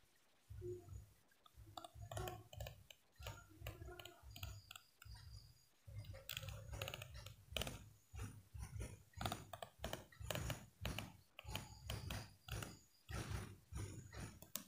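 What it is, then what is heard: Plastic comb teeth flicked. A small solid yellow plastic hair comb is held upright in one hand while a fingertip and nail of the other hand flick and strum along its teeth. Quiet bursts of crisp, rapid clicking and rattling ticks repeat with short pauses, each over a soft low thump and dying away almost at once.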